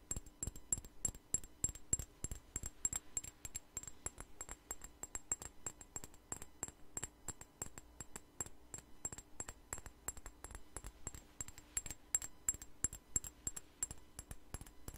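A small clear glass perfume bottle with a white flower-shaped cap, partly filled with clear liquid, is held in the hands and tapped and scratched with long nails. A steady stream of quick, sharp clicks and taps carries a bright, high glassy ring that dies away almost instantly, with a soft scratchy texture between the taps.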